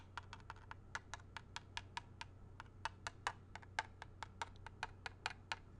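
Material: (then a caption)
Plastic. A small hollow grey plastic video game cartridge, ridged back facing out, is tapped and scratched with fingertips, nails and a thin tool. It gives a quick, even run of short, dry plastic clicks with a bright edge, each cut off almost at once, over a faint steady low hum.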